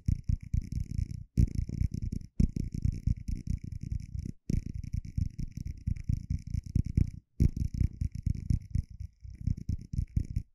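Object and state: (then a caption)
Clear plastic cup. A small, hollow, empty translucent plastic cup is held in one hand and tapped quickly with fingertips and nails. The rapid, dense taps blend into a low, purring rumble around 78 Hz, with faint bright clicks above. The bursts are broken by a few brief silent pauses.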